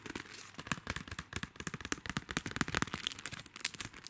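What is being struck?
Plastic sticker sheet in a clear plastic sleeve.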